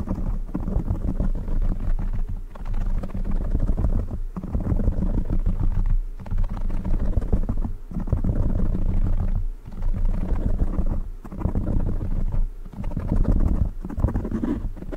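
Fingertips of both hands scratch and rub the black foam windscreen on a silver microphone. The result is a dense, muffled, low rumbling crackle with almost nothing bright in it, running nearly continuously and broken by short pauses about every two seconds.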